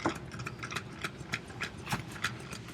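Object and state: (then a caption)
Loose cylindrical magnet rattling inside a casing. A cylindrical magnet sits loose inside a housing that is shaken back and forth, and it rattles against the casing in nine sharp, short clicks at a steady rhythm. The motion produces about 2 V AC on a voltmeter, compared with about 1 V for a spherical magnet.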